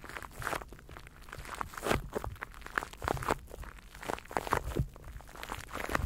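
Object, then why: Plastic cling film wrapped around a microphone. A microphone wrapped in clear plastic cling film is cupped in both hands while fingers rub and crinkle the wrap. Dense, crackling crinkles come in irregular bursts over a low, muffled rumble, rising and falling in loudness throughout.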